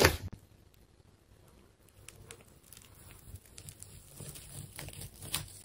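A large silver-blue solid ball of layered plastic tape is sliced open with a metal craft knife. A loud burst at the start gives way to quiet, then soft crinkling and crackling cuts with sharp bright ticks that build toward the end.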